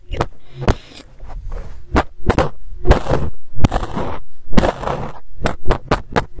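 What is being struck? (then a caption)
Fuzzy fabric microphone cover. A black fluffy fabric microphone cover, held in one hand with nails resting on it, has its fibers picked and plucked with a pink stick and then metal tweezers. Close, muffled low thumps and soft scratchy rustles come in an uneven rhythm, with short sharp ticks cutting through bright crackly bursts of fiber noise.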